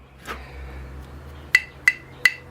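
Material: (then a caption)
Ceramic. A ceramic bonsai pot is tapped four times, giving short, dull clicks with almost no ringing. An earlier, softer tap is also heard before them. The pot does not ring.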